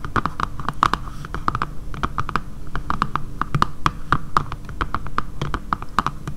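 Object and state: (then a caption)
Plastic phone case. Long painted nails tap a dark grey matte plastic phone case with a camera cutout, lying flat on a table, using both hands. A rapid, uneven stream of short, dry clicks rings briefly with a hollow tone near 1.2 kHz over a steady low rumble.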